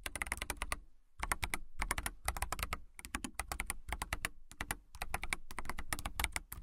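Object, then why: Clear acrylic mechanical keyboard with plastic keycaps. Fingertips and nails type on a clear acrylic mechanical keyboard with clear keycaps, producing rapid bursts of crisp, bright key taps over a low, thocky base. The typing comes in quick runs broken by a few brief pauses, with each keystroke short and dry.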